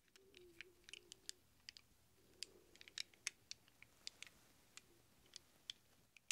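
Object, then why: Chrome-plated steel socket-wrench sockets. A pile of small hollow chrome-plated steel socket-wrench sockets is cupped in one hand and stirred by the fingertips of the other. They clink together in a quiet, irregular series of short, bright metallic ticks with almost no ring, over a faint low murmur.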